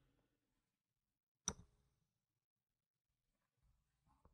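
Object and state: Plastic game tokens clicking.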